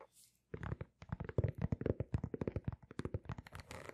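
Long nails scratch and tap the patterned rubber outsole of a single sneaker held sole-up between two microphones. After a brief quiet start, about twenty quick, dull taps follow in an uneven rhythm, each with a low thump and a short, dry, bright click. A scratchy rustle runs beneath them and swells near the end.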